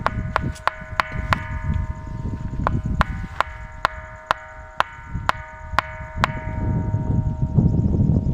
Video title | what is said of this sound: Ringing rocks_గంటరాయి@Mr Sadhuram | సాధారణంగా రాయిని కొడితే పట్న శబ్దం వస్తుంది కానీ ఇక్కడ రాయిని కొడితే గంటల మోగుతుంది. ... ఇప్పుడు ఒక రాయి తీసుకొని మీకు కొట్టి చూపిస్తాను